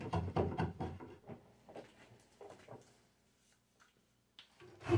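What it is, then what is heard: Ash wood walking stick being rasped. A microplane rasp is pushed along a solid ash walking stick clamped horizontally, in filing strokes. Rough, low, dry scraping strokes come quickly at first, then grow fainter and more spaced out, with a louder stroke at the very end.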